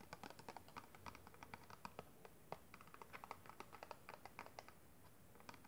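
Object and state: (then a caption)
Clear plastic packaging box tapped with fingernails. Fingertips and long red nails tap and scratch across the faces of a small, hollow, clear plastic packaging box with a pink kabuki brush inside. A quiet, steady run of dozens of short, dry, mid-pitched clicks mixes with light scratching that has a bright edge. Each tap dies away almost instantly.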